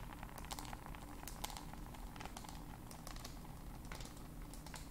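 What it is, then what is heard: Smartphone in a case, tapped and scratched with nails. A small black smartphone in a black case is held in both hands and tapped and scratched with long nails. Quick, irregular clicks and crisp, crinkly scratching bursts flicker brightly over a steady low rumble, keeping a soft, even level throughout.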